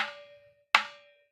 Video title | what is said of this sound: 01793505602 ভালো মানের আম কাঠের ঢোল পেতে হলে এখনই অর্ডার করুন কানাই মিউজিক্যাল সেন্টার জয়গুরু | gym মারতেছে ওরা কাঠের মধ্যে টোকা দিলে